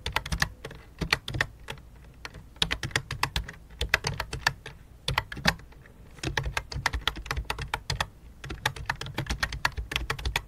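Fingertips tap steadily on the keys of a full-size white and light-blue plastic computer keyboard with a hollow plastic body. Rapid, dry, bright clicks come in quick bursts with brief pauses near 2 and 6 seconds. Each tap dies away almost instantly over a low, steady hum.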